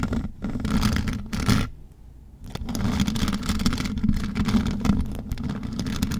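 Long metal nail claws on both hands scratch the mesh metal grille of the same rhinestone-covered microphone, giving a dense, continuous scraping rasp with a strong low hum near 200 Hz and faint bright grit. The scratching runs steadily except for a brief near-silent dip around two seconds.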